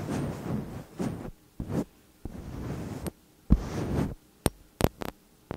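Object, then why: Metal condenser microphone body. Long nails tap and scratch the metal caps and upper bodies of two slim cylindrical metal condenser microphones. Dull, bass-heavy rubbing bursts alternate with brief pauses, then give way to a few sharp, bright taps near the end.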